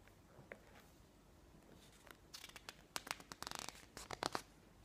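Fingertips rub softly across the surface of a thick glossy paper magazine lying open on a table, making faint, sparse scratches. A page is then lifted and turned, producing a quick run of crisp, bright swishes and crinkling rustles before it settles back into quiet.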